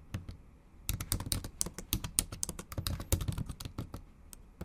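Long acrylic nails type in Japanese on a bare MacBook Pro backlit keyboard with plastic keys. After a few early taps and a brief pause, a fast, steady run of short, dry clicks follows, each with a bright tick from the nails over a soft low thud. Each click dies away almost instantly.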